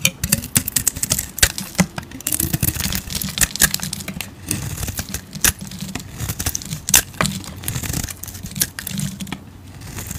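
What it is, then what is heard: Soap bar being carved. A utility blade carves and scrapes a solid cream oval bar of soap, producing dense, crisp scraping and crumbly shaving sounds. Short bright flicks and crackles come in quick succession over a steady low rumble.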